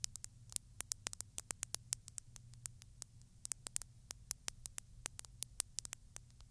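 Long pointed glittery nails tap and scratch along the body and neck of a textured glass bottle filled with small beads. Dozens of quiet, sharp, bright clicks sound at an uneven pace, each dying away instantly, over a faint low hum and hiss.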